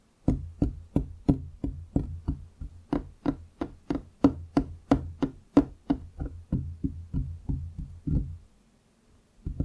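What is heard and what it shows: Both hands drum their fingertips on a large solid wooden desktop around the microphone, producing about two dozen dull, low, woody knocks at a steady pace of roughly three per second. Each tap dies away almost instantly, and after a brief silence near the end a final tap begins.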